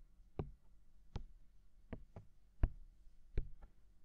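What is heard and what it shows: Fingertips tap and knock rapidly on the hollow, mounted white silicone ear of a binaural microphone. Seven short, dull, low thuds land at uneven intervals against a quiet background, each stopping dead with no ring.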